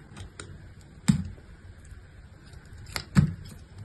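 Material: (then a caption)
Soap. A solid pink striped bar of soap is held in the hand and scored and sliced with a utility-knife blade into small flakes. Two dull, low thuds stand out among soft scratchy ticks, each with a brief bright edge as the blade bites into the soap. The sounds die away quickly.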